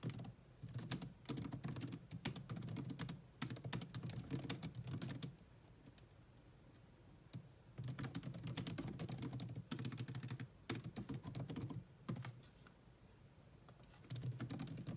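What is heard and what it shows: Long nails tap fast on the low-profile plastic keys of a grey laptop keyboard, mostly with both hands. Dense bursts of quick, dry clicks with a low thud under each keystroke come in runs, broken by short quiet pauses between them.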